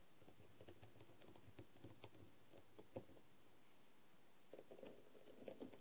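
A thin wooden skewer taps and scratches across a small blue plastic masquerade half-face mask, covered in faceted plastic rhinestones with gold bead trim and lying on a dark tray. Quiet, dry ticks and scratchy patter play over a low background hiss, with a few sharper, brighter clicks standing out, including a cluster near the end. Each click dies away almost immediately.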